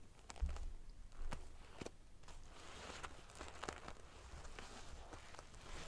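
Long painted fingernails scratch and ruffle the rows of small silver metal sequins sewn onto the fabric of a large decorative pillow. The sound is a soft, continuous prickly crinkle, with sharp bright ticks and brief louder swipes over a low rumble.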